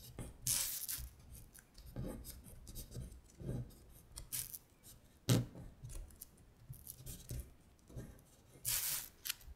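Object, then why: Thin printed paper sheet traced with a long acrylic nail. A long stiletto acrylic nail traces the characters of a thin printed paper worksheet with a Korean syllable grid, lying flat on a glittery surface. Quiet, dry scratching strokes come in uneven bursts, some rising into bright, hissy scrapes over soft low thuds, with brief pauses between.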